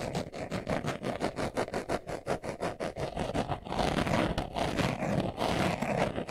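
Fingernails scratch quickly across a small, hollow brown pebbled leather glasses case held in the hands. Rapid, rhythmic rasping strokes come first, then merge into louder, denser continuous scratching for the rest of the clip.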